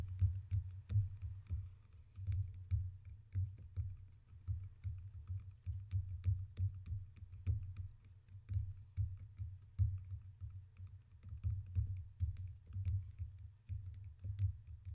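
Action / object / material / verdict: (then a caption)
tap / two water cups / unknown / none. Two water cups are tapped in a steady, rapid series of soft, dull taps with no talking. The taps are low and muffled with very little brightness, and each one fades quickly.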